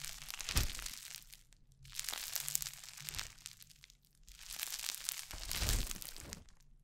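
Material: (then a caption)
Foam beads. Orange crunchy foam-bead slime (floam) is stretched into strands near the mic, pressed between palms and fingertips, and squished. It gives dense, bright crackling and popping that swells in waves, with brief quiet gaps between squeezes and a faint low rumble underneath.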